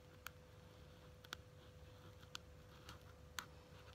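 Long nails tap a small pink quilted faux leather wallet or case, making short, sharp clicks roughly once a second. The clicks are bright and die away almost instantly, and they sit over a quiet, steady low background rumble with a faint constant tone.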